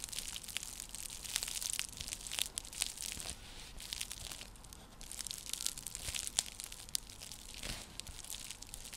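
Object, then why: Woven seagrass coaster. Long nails scratch across a round, flat, coiled woven seagrass coaster, like a straw trivet, making a dense, bright crackling and scraping texture. Sharp dry clicks and crinkles sit over a faint low rustle, easing briefly near the middle before building again.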